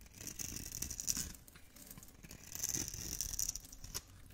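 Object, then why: Bar of soap scraped with a metal blade. A metal blade scrapes small cubes off the gold surface of a hand-held solid orange bar of dry soap. Two stretches of dry, crisp scraping and crunching with a bright, hissy edge are separated by a quieter pause, and small crackles and ticks run between them.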